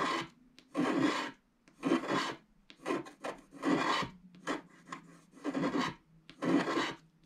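A black wax-coated scratch art card lies flat and solid while its background is scratched off with a wooden stylus in steady hand strokes. Each stroke makes a dry, raspy scratching burst with a low hum near 285 Hz beneath a bright, grainy hiss, separated by short quiet pauses.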